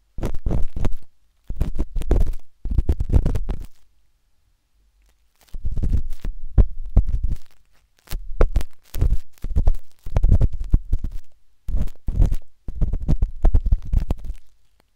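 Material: Silicone.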